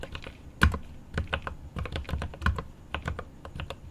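Both hands type rapidly with their fingertips on a 75% mechanical keyboard with plastic keycaps on an aluminum case. Quick, irregular key taps give short, sharp clacks with a deep, thocky low end, a few louder strikes standing out and each one dying away almost instantly.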